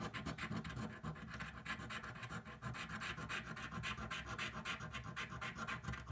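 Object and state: Scratch-off lottery ticket being scraped.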